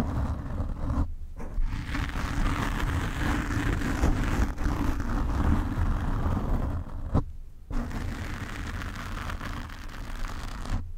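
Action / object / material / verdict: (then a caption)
scrape / foam microphone windscreen / foam / none. Nail tips of both hands slowly scratch the black foam cover on a desk microphone. The result is a dense, muffled, low rumbling scrape, heavy in the bass, that carries on almost without pause, dropping out only briefly a couple of times.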